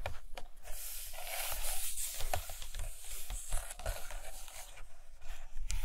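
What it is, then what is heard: Glossy paper pages of a hardcover book. Long nails tap and scratch across the glossy paper pages of a large open hardcover photo book lying on a carpet. The sound is a steady, dry scratchy rustle with a bright hiss, broken by short, soft taps that die away almost instantly.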